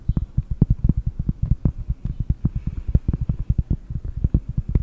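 A round, flat, solid cork disc about 20 cm across is held close to a microphone and tapped with long painted nails and fingertips. It makes a rapid, uneven run of dozens of short, dull, low thumps with almost no ring, plus faint clicks on the brighter taps.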